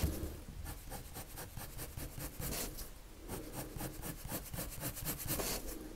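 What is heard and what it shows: A hand draws circular strokes with a blue colored pencil on a flat sheet of white drawing paper. A steady, soft scratching and rubbing is heard, with bright, rapid strokes repeating over a low rumble.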